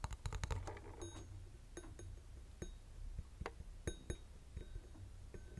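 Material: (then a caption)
Metal. Fingernails tap on a small, hollow vintage metal twin-bell alarm clock, first on the face cover and the case, then on the top metal bell. The taps are short, dry clicks over a low hum, a dense cluster at the start and then sparser taps, some with a faint bright ring from the bell.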